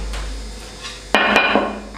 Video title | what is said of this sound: Khui Hộp Thùng Vỏ PC Case Xigmatek Duke 3F Sẵn 3 FAN | Khi tôi gõ vào bên ngoài, nó nghe rỗng, nhưng khi cầm riêng ra thì thấy nó là thủy tinh thật.